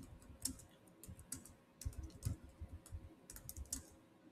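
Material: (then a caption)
Plastic. Fingertips of both hands tap rapidly on a Samsung laptop keyboard with black plastic chiclet keys set in a silver body. The result is quiet, irregular typing: soft, dull low thumps with short bright clicks that stop almost instantly.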